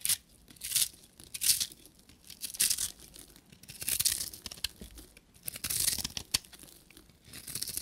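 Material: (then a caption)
Soap. A short metal knife blade shaves a solid pink bar of dry soap, and crumbly, powdery curls come off. Each stroke makes a bright, dry, crumbling scrape, and the strokes come in repeated bursts with quiet gaps between them. There is almost no low end.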